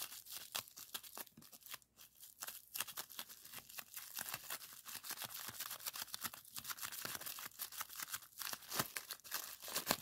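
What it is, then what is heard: Plastic bubble wrap. Clear plastic bubble wrap is first squeezed while bunched up in the fingers, then laid flat and pressed with fingertips. The result is a quiet, dense stream of sharp, bright pops and crinkly crackles that die away almost instantly, with a few louder snaps scattered throughout.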